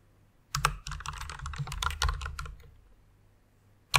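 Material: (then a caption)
Plastic. Two hands with long nails type on a full-size white mechanical keyboard with plastic keycaps and faint RGB lighting. A quick, dense run of clacky keystrokes pairs a low thump with bright clicks, then fades into a pause before one last sharp keystroke at the end.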